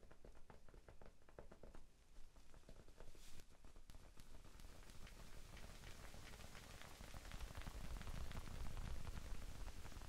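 Fingertips tap lightly on a small, soft, solid rectangular pink foam sponge held in both hands. The quick, irregular taps make a quiet, muffled, rain-like patter heavy in the low end. It grows slightly denser and louder toward the end.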